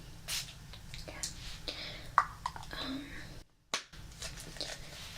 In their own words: You can hear the tapping onto the plastic bottle. Always nice.